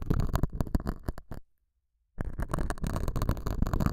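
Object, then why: Felt pad scraped by a metal hook. A metal dental scaler hook scratches the surface of a small, solid, square beige felt pad mounted over a small lavalier mic. Dense, low, rumbling scrapes come in a rapid, irregular series, stop for about three-quarters of a second of silence, then resume.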